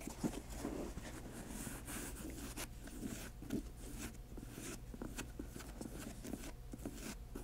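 Long nails scratch the laces and tap the glossy upper of an empty grey patent leather high-top sneaker, giving soft rustling scratches broken by light clicking taps over a low steady hum.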